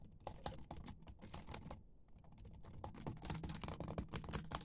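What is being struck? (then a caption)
Plastic laptop keyboard. Fingertips and nails type rapidly on a dimly lit laptop keyboard with black plastic keys, producing quick, irregular, dry clicks and taps. The clicking pauses briefly near the middle, then resumes denser and slightly louder to the end.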